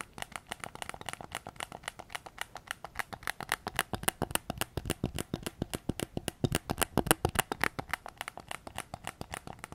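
A white PS5 controller with a hollow plastic shell is tapped with fingertips on its back shell and triggers, held close to the recorder. About 68 quick, dry clicking taps come in an uneven, rapid stream, each short and bright with almost no ring.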